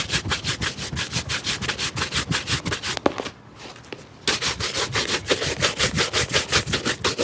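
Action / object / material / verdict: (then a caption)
scrape / leather shoe and bristle brush / leather / none. A wooden-backed bristle shoe brush rubs fast over the upper of a hollow, empty black leather shoe, held upright and then tilted. Quick, even strokes give a steady bright swishing at about three per second. A short pause near the middle is marked by a faint tap, and then the brisk brushing resumes.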